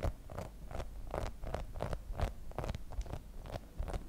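Long nails scratch and tap across the spikes of a hand-sized grey rubber spiky massage ball. The result is a quick, irregular run of soft, dull taps with short scratchy rasps. The sound is mostly low and muffled and dies away almost at once.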